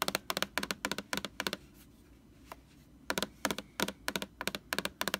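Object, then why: Plastic laundry sanitizer jug. Long orange nails tap on the glossy front label of a large white plastic Lysol laundry sanitizer jug, close up. About 19 sharp, dry, bright clicks come in quick pairs and triplets with almost no ring. There is a quiet pause with a single faint tap in the middle before the tapping resumes.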